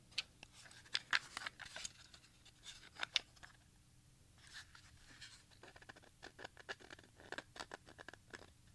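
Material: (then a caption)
Plastic. A small, hollow grey plastic Maxell audio cassette with screws visible on its shell is held close and rotated while fingertips and a thumb scratch and tap the plastic. Quiet, bright, dry clicks and taps come in irregular clusters over soft scratchy rustling. Each tap dies away almost instantly.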